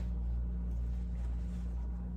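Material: Nothing is struck.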